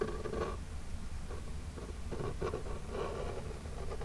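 The lid of a small, flat, hollow printed cardboard Birchbox box held in one hand is lightly scratched and tapped with the long jeweled nails of the other hand. Soft, dull scratching and tapping come in short bursts with a muffled, papery body, with most of the energy low and little brightness.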